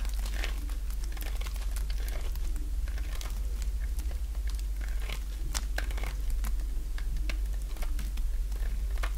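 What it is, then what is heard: Dry bar soap being cut. A small leftover piece of dry yellow bar soap, held in the fingers, is cut and scraped with a box-cutter blade. It makes a rapid series of crisp, crinkly scraping and crunching clicks that flick up into bright, high tones, over a steady low hum.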